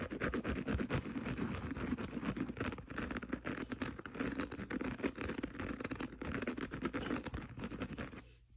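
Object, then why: Kitchen sponge with synthetic scouring pad. Fingernails rapidly scratch the green synthetic scouring pad of a small kitchen sponge lying pad-up on carpet. A dense, steady stream of rough, raspy scratches runs almost without pause, full in the low-mids, then fades out at the end.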